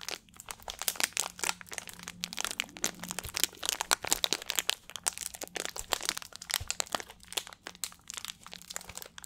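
A small, hollow clear plastic water bottle with a blue cap is squeezed and crinkled by fingertips close to the microphone. The result is a dense run of sharp, bright crackles and crunches with very little low end, each snap dying away almost instantly. A faint steady low hum sits underneath.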